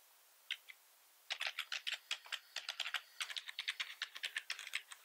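A full-size black plastic keyboard with red accent keys and a hollow body, resting on a wooden desk, is typed on quickly with the fingertips of both hands. Two lone clicks sound first, then after a short pause a rapid, uneven run of bright, hollow plastic clacks continues to the end, about 29 keystrokes in all. Each click is short and dry with no low end.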